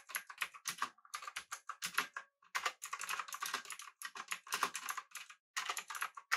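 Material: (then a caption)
Plastic. A full-size pink typewriter-style mechanical keyboard with an aluminum body and round plastic keycaps is typed on with the fingertips of both hands. Quick, bright, clacky keystrokes follow in rapid bursts with short pauses between them, each click sharp and dying away almost instantly.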